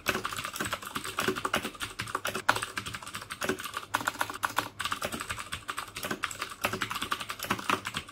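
Fingertips type steadily on the keycaps of a black plastic mechanical keyboard with clicky Cherry MX Blue switches. A rapid, continuous stream of crisp, bright clicks centers around 1.4 kHz, with almost no low end. Each click dies away almost instantly.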